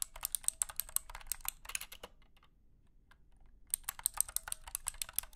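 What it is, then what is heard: Clicky mechanical keyboard. Fingertips type on a compact wired mechanical keyboard with a plastic case, light blue plastic keycaps and clicky switches. Bursts of sharp, bright clicks are heard, with a pause of near silence in the middle before the typing resumes.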